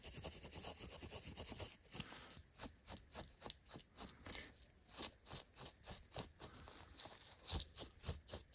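A small, cleaned brass or bronze filigree bottle cap piece is held between gloved fingers and rubbed with a pad of steel wool to polish it. Quiet, scratchy back-and-forth strokes repeat irregularly, roughly twice a second, with a bright, hissy texture over a faint low rumble.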